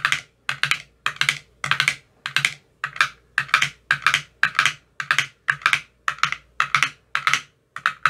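An empty clear plastic ice cube tray with green silicone cell bottoms is tapped repeatedly in its cells with a thin metal rod. The taps are short, bright clicks, often in quick pairs or clusters. A faint low thump sits under each group.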